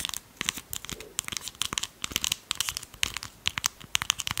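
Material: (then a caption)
Plastic. A small red plastic lip gloss tube with a label, which looks full, is held close to the microphone and tapped and scratched with long pastel nails. The result is a rapid run of about two dozen crisp, bright clicks and crinkly scratches with very little low end, each one dying away almost instantly.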